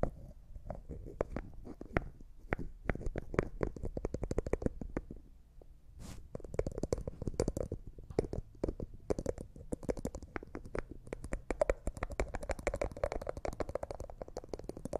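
Fingernails tap and scratch on a small, hollow, clear jar that looks like glass and appears empty, with a white plastic lid, and the lid is twisted. Quick, dry clicking taps come in dense runs with almost no ring, ease off briefly just before the six-second mark, then return alongside a bright, scratchy rasp for the rest of the clip.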